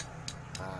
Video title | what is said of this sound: TUTORIAL CARA MENGETAHUI SETANG SEHER RX-KING YANG SUDAH AUS | Ini ciri-ciri kalau kruk as atau stang sekernya udah aus, minta diganti